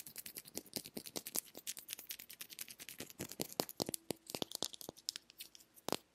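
Long nails tap and scratch the curved surface of a small, hollow, pink plastic egg-shaped lip balm container. Some forty-odd quick, dry, bright clicks follow one another in a rapid, uneven stream, each dying away almost instantly. A faint scratchy rasp and a thin tone near 375 Hz come in toward the end.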